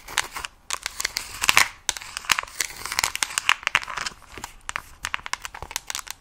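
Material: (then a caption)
Plastic. Long nails tap and scratch the surface of a mint plastic case with stickers on a Nintendo Switch Lite. Quick, bright clicks and crinkly scraping bursts run throughout with almost no low end, ending short and dry.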